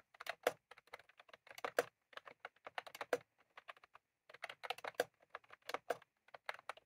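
Fingertips of both hands type on a white/cream plastic retro computer keyboard with round typewriter-style keycaps, resting on a desk. Roughly 35 short, dry clicks and clacks come in uneven bursts, with a brief pause near the middle. Each keystroke dies away almost instantly, giving a light, mid-pitched tapping with no low end.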